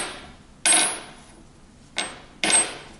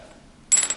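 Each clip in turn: First: brass guitar nut, metallic ping. Second: synthetic guitar nut with a bright, glass-like ring.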